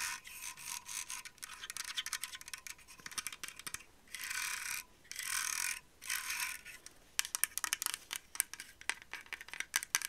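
Long acrylic nails tap and scratch quickly along the hollow body and plastic bristles of a hand-sized grey and pink TYMO RING plastic heated hair straightening brush. Dense bright clicks and scratches are broken up by three longer, steady scraping strokes in the middle. A crisp, high, dry texture with almost no low end.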